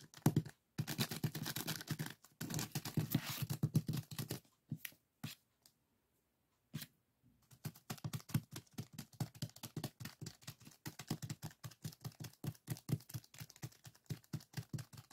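Fingertips tap and scratch on a small clear plastic zip-lock bag full of purple sand granules lying flat on a wooden table. Dense, grainy scratching fills the first few seconds, then a near-silent pause, followed by a long run of quick, soft taps with a dull, low-heavy thud and a faint sandy crackle.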